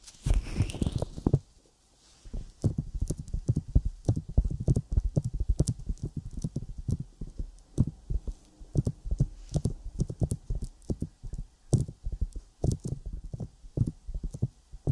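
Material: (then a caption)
Silicone. Long nails and fingertips tap and scratch on a sticky silicone binaural microphone ear coated with petroleum jelly. A brief rubbing swish with a bright sweep opens the clip, then after a short pause comes a dense, irregular run of short, deep, muffled thumps and crackly taps, some with sharp bright clicks on top. The sound stays close and bass-heavy, with almost no ring after each tap.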